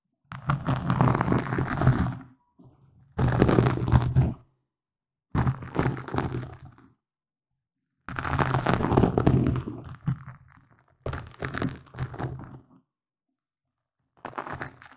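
Fingernails from both hands scratch a black foam windscreen on a microphone. Six bursts of rough, muffled, low-heavy rustling and crunching are heard, separated by short silences.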